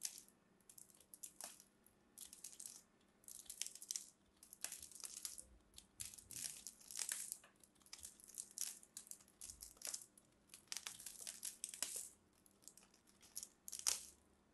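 A small black-handled blade shaves and carves into a fist-sized, solid, mint-green soap ball held in the fingertips of both hands with long red nails over a purple surface, and crumbly soap flakes fall away. Quiet, bright, crisp scraping and crinkling strokes come in short repeated bursts with brief pauses between them, with almost no low end.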